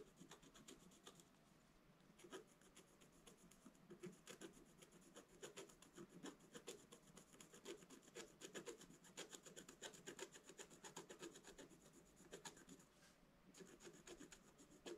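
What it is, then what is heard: Scratch-art paper scratched with a wooden stylus. A wooden stylus scratches lines into the black coating of a scratch-art paper page in a flat book. Quiet, dry, bright scratching strokes come in an uneven, continuous stream of short rasps with no ring after each stroke.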